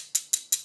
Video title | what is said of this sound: 풀아치 임플란트? 지르코니아가 제일 좋고 편할 거란 착각 | 예 를 들어 , 양쪽 모두 지르코니아 로 만들어졌다면 딸깍 거리는 소리 가 반드시 발생 할 것 입니다 .